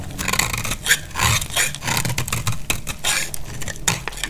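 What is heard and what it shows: A dry, pale blue oval bar of solid soap is sliced down with a metal snap-off blade held in the hand. A run of short, dry, crumbly scrapes and crunches follows one after another, bright and hissy with a low thud beneath, each dying away almost at once.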